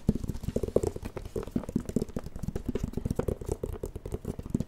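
Fingertips tap rapidly on the glowing plastic screen of a light-up plastic drawing pad held in both hands. The result is a fast, uneven patter of short, dull, hollow clicks with a low-heavy tone and no lingering ring.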